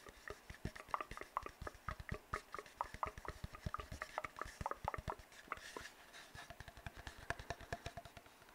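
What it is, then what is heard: Empty cardboard tube. An empty, hollow brown cardboard tube is tapped with fingertips and scratched with nails. The result is a rapid, uneven run of dozens of short, dry, hollow taps with a faint papery tone near 1.1 kHz. Soft bright scratching rasps sit between the taps, and every sound dies away almost instantly.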